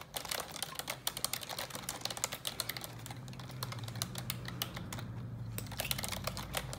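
Long neon-yellow nails type fast on the keycaps of a black plastic computer keyboard. Rapid, bright taps and clicks overlap in a steady stream over a faint low hum.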